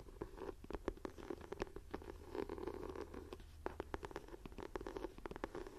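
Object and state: Leather-look journal cover scratched and tapped.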